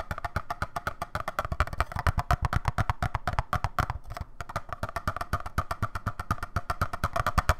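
A small hollow clear plastic display cube with a baseball inside is held in one hand and tapped and handled with the fingertips. The result is a rapid, fairly steady run of short, dry, hollow knocks, about four per second, with a deep thump and a woody mid-range click that die away at once. The tapping pauses briefly just past the midpoint.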